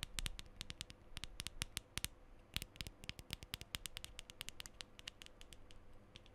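Fingernails tap quickly along the side and base of a hollow black metal aerosol deodorant can. A rapid run of dozens of short, sharp clicks rings bright and metallic over a low hollow thud, each dying away almost instantly.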